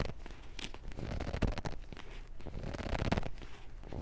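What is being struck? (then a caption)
Paperback book, paper pages. Fingers grip a thick paperback book with yellowed pages, riffling and scratching along the page edges and spine. The result is a quiet, continuous dry crackle and papery rustle, with soft low thumps from the grip and brief brighter flutters as the pages riffle.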